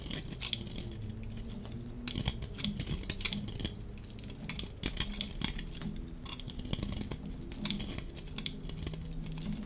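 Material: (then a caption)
Soap. A dry, pink striped bar of solid soap is held in the hand while a metal utility-knife blade scrapes across its surface, shaving off flakes that fall away. Quick, dry scraping strokes produce bright, crisp crackles that die out almost instantly, repeating steadily over a low background hum.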